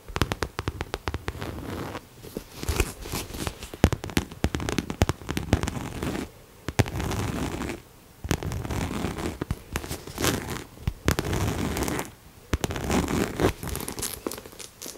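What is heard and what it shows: Long nails tap and scratch the front of a hollow pink cherry-print coated canvas Coach crossbody bag held up in both hands. Rapid, dry, crackly taps mix with scratchy rustling, mostly dull and low, with no ring after each tap. Short pauses break up the bursts.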